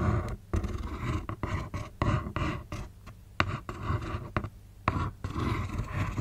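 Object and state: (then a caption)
Cardboard shoe box. Long acrylic nails scratch and tap the lid of a closed, hollow, black printed Converse cardboard shoe box with a taped corner, resting on a knit blanket. The result is a run of dull, low, hollow thuds with short, sharp tap onsets, mixed with soft rustling scratches. Each tap dies away almost at once.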